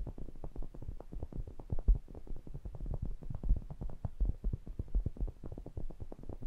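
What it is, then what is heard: Metal pencil condenser microphone grille. Fingertips tap and rub the wire mesh grilles and rims of two matching small cylindrical metal pencil condenser microphones, a stereo pair with hollow capsule heads. A rapid, steady stream of short, dry, muffled thumps sits almost entirely in the deep low range around 100 Hz, with no bright content and a few louder knocks standing out.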